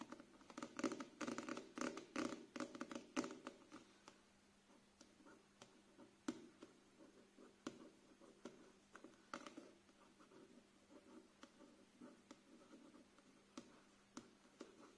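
A closed paperback novel with a glossy card cover and solid paper block, held upright in both hands, has its cover tapped and scratched with fingertips and short nails. A dense burst of papery scratching and quick dry taps fills the first few seconds, then gives way to quieter, scattered taps and light scratches with a few sharper clicks. A faint steady low tone runs underneath.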